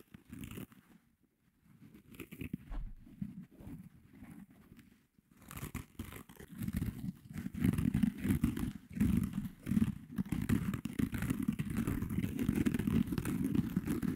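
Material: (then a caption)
Foam. A small pink foam kitchen sponge with a green scouring layer is held in the hands while fingertips and nails scratch its surface and squeeze the soft foam. Sparse, quiet scratching and crinkling comes in short bursts at first, then at about five seconds it becomes a louder, steady run of dense, dull crunchy scrapes weighted toward the low end.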